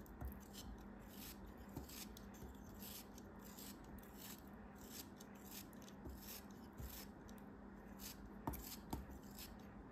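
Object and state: Kinetic sand block being cut.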